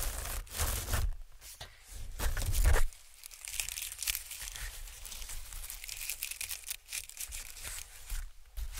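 A sheet of white honeycomb packing paper is waved, rubbed flat with fingertips, and then stretched between the hands. Loud, crinkly bursts with low thumps and bright crackle fill the first three seconds. They give way to a softer, steady papery rustle and scratching for the rest of the clip.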